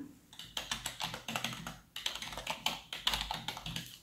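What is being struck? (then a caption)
Plastic computer keyboard. A full-size black plastic computer keyboard resting on a desk is typed on by the fingertips of both hands in fingerless gloves. Continuous quick, bright key clicks and taps fill the clip, with short pauses between bursts.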